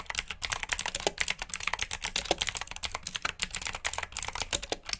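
Fingertips with short nails type rapidly on a full-size black plastic mechanical keyboard with RGB backlit keycaps, clicky blue switches and hollow key housings. A dense, steady stream of sharp, bright clicks and clacks is heard, each dying out almost instantly, with little low-end weight.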